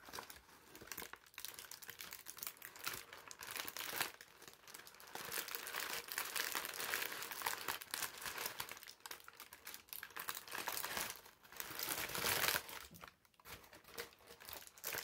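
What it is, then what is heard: Thin wrinkled paper sheet being crumpled. A heavily wrinkled sheet of thin brown parchment paper is stretched, crumpled and handled with fingers. Dense, bright crinkling and crackling fill the clip, with almost no low end. It swells louder in the middle and briefly drops quiet near the end.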